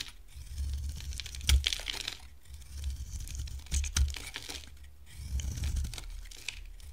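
A solid, hand-sized pink bar of dry soap with a teal outer layer, held in one hand, is shaved and carved with a box-cutter blade, throwing off curls. Dry, crisp scraping and crackling comes in uneven bursts over a low rumble, with a few sharper snaps standing out.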